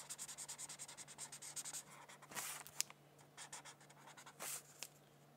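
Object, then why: Felt-tip marker on a paper sheet over a hardcover book. A felt-tip marker rubs across a thin paper coloring sheet resting on a hardcover book while coloring. It makes a quiet, bright, scratchy rhythm of quick back-and-forth strokes, with a couple of longer swipes and short pauses between bursts. A faint steady low hum runs underneath throughout.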